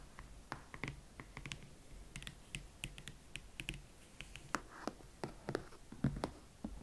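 Long manicured nails and fingertips tap and scratch the hot pink leather side of a single Valentino Club Platform Chelsea ankle boot, held upright, hollow and empty, near its block heel and chunky platform sole. The result is a steady run of soft, dry clicks and taps with a low, muffled body and bright scratchy edges, each dying away almost instantly.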